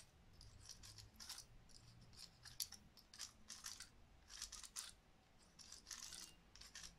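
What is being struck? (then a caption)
Woody pine cone. A dry, hand-sized woody pine cone is held in one hand while long nails scratch and pluck its scales. The result is many sharp, bright clicks in quick clustered bursts over a faint low rumble.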